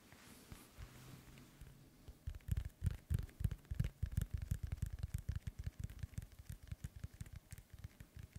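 Fingertips scratch and then tap a hollow, inflated synthetic leather soccer ball held in both hands. A soft, low scratching rustle opens the clip, then gives way to a quick, uneven run of dull, hollow thumps around 100 Hz, each dying away almost instantly.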